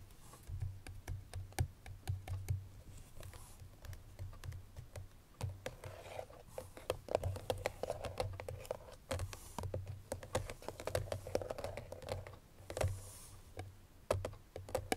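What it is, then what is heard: Cardboard perfume box. Long nails tap rapidly on the front face of a hollow cream paperboard Chloé perfume box with the bottle inside. The taps are short, dry clicks with a slight hollow mid-range resonance, over a steady low hum.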